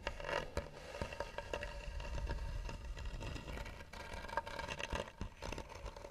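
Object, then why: Carved wooden box. Long nails scratch the lid of a hollow, tan carved wooden box. The result is a steady, rough scraping with a heavy low rumble, a faint ringing tone near 900 Hz, and frequent sharp ticks and clicks scattered throughout.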